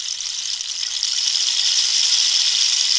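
A hollow cactus-wood rainstick is held up and turned, and the pebble filling rattles and ratchets inside. The result is a dense, continuous high-pitched patter with almost no low end, which grows slightly louder after the first second and holds steady to the end.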